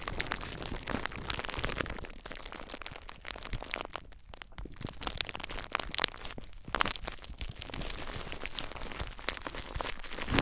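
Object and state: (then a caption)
Plastic bubble wrap. Clear plastic bubble wrap bundled around a recorder is squeezed by fingertips, popping the bubbles. A dense, continuous stream of sharp crackles and crinkling pops runs throughout, with a few louder, brighter snaps standing out near the middle and end. A brief quieter lull falls just past four seconds.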